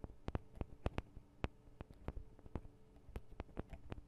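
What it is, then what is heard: Metal microphone capsules being tapped. Long acrylic nails rapidly tap the small, hollow metal microphone capsules, with metal guard wings, of a Tascam DR-40 recorder. Around sixteen short, dry clicks land over the quiet background, each with a deep, booming low thump picked up by the mic itself. A faint low hum sits underneath.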